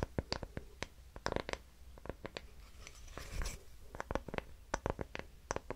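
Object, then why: Small wooden hexagonal block. A small, light, solid wooden hexagonal block is held in both hands and scratched and tapped with fingernails. Sharp, dry clicks with almost no ring come in quick irregular bursts over soft scratching, with a brief louder, brighter rustle near the middle.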